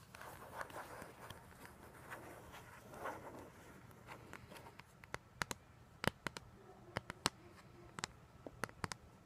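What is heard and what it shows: Long gold-polished nails scratch and tap across the printed front cover of a flat cardboard vinyl record sleeve, about 30 cm square, held up toward the front. The first half is a soft, papery scratching rustle; the second half is sharp, dry taps with no ring. All of it is quiet and close.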